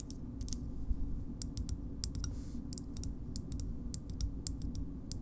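Long nails tap on the handle and opening of a green plastic bottle opener with a metal insert. The result is an irregular series of short, dry, bright clicks over a steady low hum.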